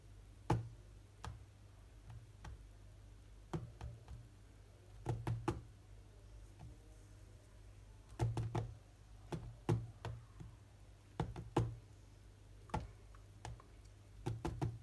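Spread fingers of both hands tap on the glass touchscreen of a large tablet lying flat, producing quick, dull, ticking knocks. The taps come in irregular clusters and short rapid runs with pauses between. Each tap is short and low-heavy with little ring, over a faint steady low hum.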